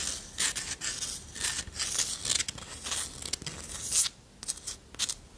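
A flat, solid, round wooden disc coaster is held in one hand and tapped and scratched with long nails. Bright, dry scratching and quick tapping bursts come in uneven clusters with brief pauses, sitting almost entirely in the high range with very little low end and no ring after each stroke.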